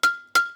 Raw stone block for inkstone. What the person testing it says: 속이 멀쩡한 돌은 맑고 청한 소리가납니다